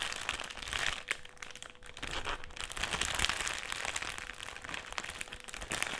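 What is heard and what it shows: A folded black foil-lined metallised plastic crisp packet is pressed and scratched on a table, then picked up and crumpled in the hands. It makes dense, bright crinkling and crackling with sharp snaps, along with a faint steady tone near 500 Hz underneath.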